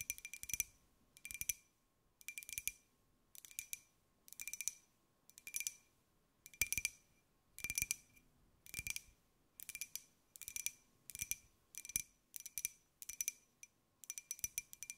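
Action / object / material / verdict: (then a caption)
tap / small glazed ceramic jar / glazed ceramic / none. A small, hollow white glazed ceramic jar with a pineapple print is tilted in the hands and tapped with long nails. Quick bursts of bright, clicky taps with a ringing tone come in steady clusters about once a second, each tap dying away almost at once.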